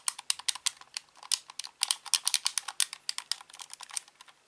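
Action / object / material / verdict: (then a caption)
tap / plastic game controller / plastic / none. The face buttons and d-pad of a hollow plastic Xbox controller are rapidly clicked with the thumbs, producing a quick, uneven run of about two dozen sharp, bright clicks. Each click is dry and ends almost instantly, with no low-end body, at a fairly quiet level.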